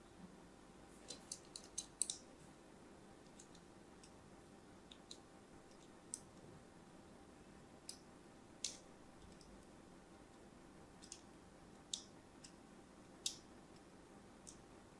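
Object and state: Bar of soap being scored with a blade.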